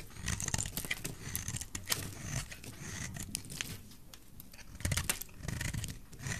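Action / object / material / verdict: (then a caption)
scrape / bar of soap scraped with a metal knife blade / soap / none. A solid oval white bar of dry soap, held in the hand, is shaved and scraped with a metal utility knife blade, curling off flakes. Repeated dry, crisp scraping rasps with bright, papery highs sit over a soft low rumble. The strokes come in uneven bursts and stop short with no ring.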